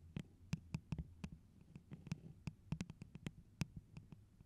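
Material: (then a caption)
Plastic. A tall, hollow, holographic plastic tumbler cup with a pineapple print, apparently empty, is held in both hands and tapped and scratched with long, pointed neon-orange nails. About 17 quick, dull, low-pitched taps with short bright clicks sound at an uneven pace, with faint scratching between them, and each tap dies away almost at once.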